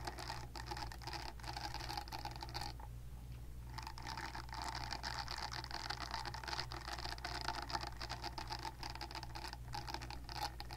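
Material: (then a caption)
Silicone. Long nails scratch the nub-side silicone bristles of a palm-sized silicone facial cleansing pad, turned toward the camera, making a dense, continuous patter of raspy scratches over a steady low hum. The scratching stops briefly around the three-second mark, then resumes with a bright, papery texture and a light tonal ring near 800 Hz.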